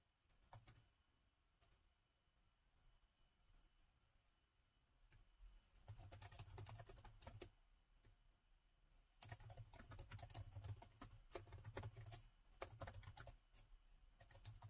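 Two hands type with their fingertips on the plastic chiclet keys of a gold metal laptop, producing quick, dry, bright clicks and soft low taps. A few scattered key presses give way to two dense bursts of continuous typing, each followed by a quiet pause.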